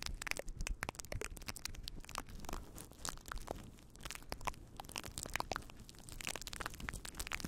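A fluffy faux fur windscreen on a microphone is rubbed and scratched with the fingertips of both hands. The result is a dense, continuous crackling and crunching texture of short, bright scratchy bursts over a heavy low rumble, rising and falling in waves with no pauses.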